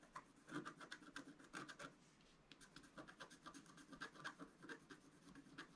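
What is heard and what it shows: A wooden stylus scratches the black coating of a flat, wax-coated scratch-art paper sheet lying on a table and held down by the left hand. A quick run of short, dry, bright scraping strokes comes in bursts, with a brief quieter stretch near the middle before the scratching picks up again.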